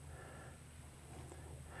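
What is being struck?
Nothing is struck.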